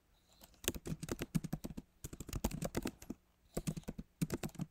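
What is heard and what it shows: Fingertips of both hands type on the plastic keys of a backlit MacBook Pro laptop keyboard set in a solid aluminum body. Quick, dull, low tapping clicks die away almost at once, coming in three rapid bursts of about 24 keystrokes with short pauses between them.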